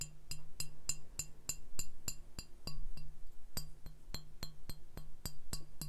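The bare brown glass base of an empty-looking, hollow beer bottle is tapped and scratched with fingertips and nails on the base and its ridged rim. A steady run of quick, bright glassy clinks, each with a low, dull thump and brief high ringing overtones that die away fast.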